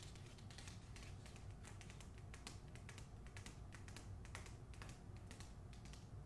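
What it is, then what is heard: Paper-covered hardcover book. Long acrylic nails quickly tap and scratch the back cover of the closed hardcover book "The Hacienda," which wears a glossy paper dust jacket. The result is a rapid stream of light, crisp clicks with bright edges over a steady, quiet low rumble.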